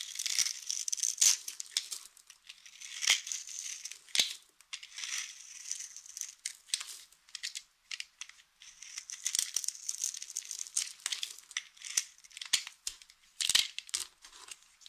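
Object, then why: Bar of soap cut with a blade. A solid pink bar of dry soap, its surface pre-scored into small cubes, is held in a hand with long painted nails while a utility knife blade scrapes and cuts the cubes off. The result is a steady run of crumbly, crisp crunching and crackling, all bright and high with no low end, coming in clustered bursts with brief pauses between.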